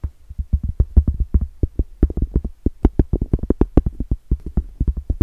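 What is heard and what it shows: Long blue acrylic nails tap and scratch the flat face of a round, solid cork trivet held up in the air. A quick, uneven run of soft, dull, low thuds lands with almost no ring, with faint rustly scratches between them and very little brightness.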